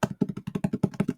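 Fingers tap rapidly on a book, making 13 quick, dull, muted taps with a low thud and almost no ring.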